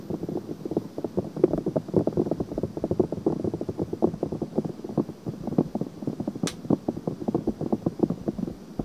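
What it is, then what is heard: Silicone microphone ear being scratched. Long painted nails scratch and rub a white silicone ear on a binaural microphone, making a dense, steady run of quick, dry, close-up scratching strokes that sit mostly in the low-mid range. A single sharp, bright click cuts through near the end.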